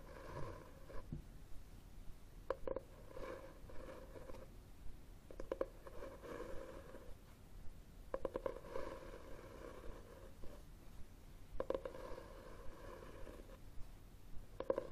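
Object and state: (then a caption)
Cloth-covered hardcover book. Fingertips and short nails tap and scratch the front of a solid red hardcover book with a textured cloth cover, held upright on a wooden table. Quiet, soft tapping clusters recur in irregular bursts, with a dull mid-range tone around 530 Hz and low rustling scratches between them.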